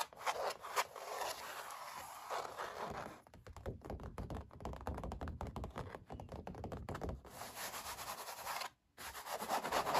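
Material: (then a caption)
Canvas. Both hands quickly scratch and rub a stretched-canvas oil painting with short nails and fingertips, while wearing a metal ring; the taut surface of thick, textured paint sits over a hollow frame. Dry, bright scratching and rubbing at the start gives way to a middle stretch of rapid, dense tapping with hollow low thumps. The scratchy rubbing then returns, broken by a brief near-silent gap just before the end.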